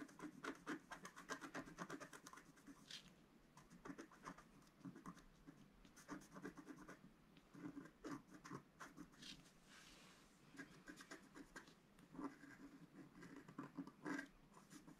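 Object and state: Scratch art paper being scratched.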